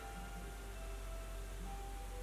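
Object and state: Nothing is struck.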